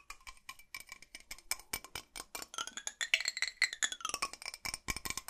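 A large, hollow blue metal drinking bottle is held in both hands and tapped and scratched with fingernails along its body and base. About thirty-five quick, dry taps and scrapes follow one another, each with a short, bright metallic ping and almost no low end. Some higher pinging tones bend and slide as the nails move across the surface.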